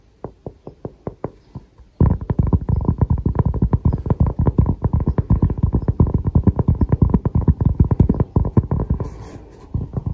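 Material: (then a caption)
Cork. Fingertips and short nails tap and scratch across the grainy surface of a round, thin, solid cork coaster held up close in both hands. A few spaced, dull, low taps are followed at two seconds by a dense, rapid stream of soft, muffled thuds that continues to the end. A faint brighter scratching rises near the close.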